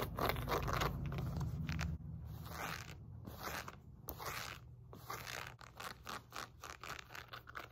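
A wide black and pink woven elastic fabric glute resistance band resting on a lap is scratched and rubbed with long painted nails and fingertips. The result is a dense, scratchy rasp over a low rumble at first, then quicker, choppier bursts of fabric scratching in a loose, fast rhythm.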